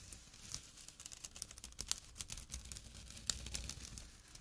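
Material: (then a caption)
Jute. Fingertips and short nails scratch a small, empty jute burlap drawstring pouch resting on dark cloth. The result is a quiet, dry, bright, crinkly scratching texture with irregular short rasps and a few sharper flicks.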